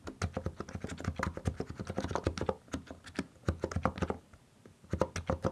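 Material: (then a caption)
Plastic. Both hands type with their fingertips on a compact mechanical keyboard with plastic keycaps, making a rapid run of short, deep, clacking keystrokes. The typing stops briefly twice and then resumes in quick bursts.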